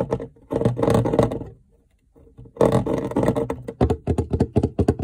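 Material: Plastic.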